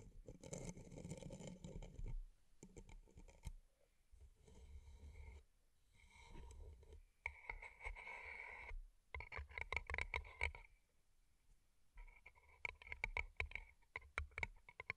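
Long nails tap and scratch two identical hollow paper cups covered in rhinestones. Quick, sharp clicks and scratchy scraping come through with a bright ring around 2.2 kHz, over low rumbling thumps, in bursts separated by short pauses.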